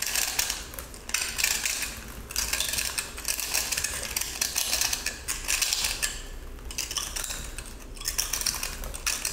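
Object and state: Pressed salt block being scraped.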